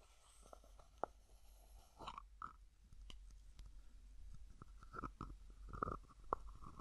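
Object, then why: Small plastic cosmetic jar with screw lid. A small, hollow white plastic cosmetic jar has its plastic screw lid twisted and rubbed by fingertips. The result is a quiet, irregular series of short, dry clicks and scrapes with a hollow tone around 1 kHz, over a faint low rumble.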